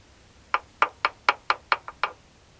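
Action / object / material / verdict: knock / metal sleeve in a truck cab mount / metal / none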